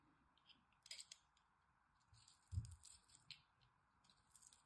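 A small blade scrapes along the edges of a solid green dry bar soap with a crosshatch-scored face, flaking it off. Quiet, bright, crackly scratches come in short bursts, with a soft low thud near the middle.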